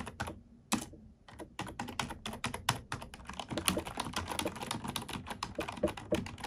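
A black plastic computer keyboard is typed on with long nails and fingertips. A rapid, uneven stream of short, bright plastic clicks and clacks is heard, with a few louder keystrokes, each dying away almost instantly.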